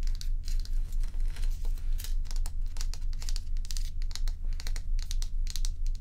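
Long pointed nails scratch and tap the frosted surface of a large, solid, dome-shaped ice block held tilted in the hands. Crisp, bright crinkly scratches and taps come in quick, fairly regular bursts over a steady low hum.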